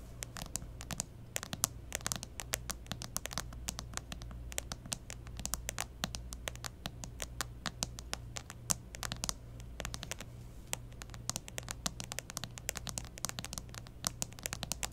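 Long fingernails from both hands tap rapidly on the back of a clear plastic case on a smartphone lying back up on a cloth-covered table. The result is a dense, irregular stream of sharp, bright clicks with almost no ring, over a steady low hum.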